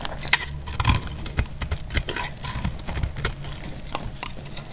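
A hand-held bar of dried pink speckled soap is cut with a box-cutter blade, shaving off crisp flakes. Quick, dry, bright scraping clicks and snaps come in an uneven run over a low background rumble, each one stopping almost at once.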